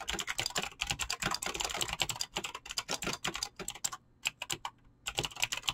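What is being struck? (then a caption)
Mechanical keyboard with PBT plastic keycaps. Fingertips type fast on a mechanical keyboard with clicky green switches and PBT plastic keycaps. The result is a dense run of sharp, bright clicks that stop briefly around the four- and five-second marks before picking up again.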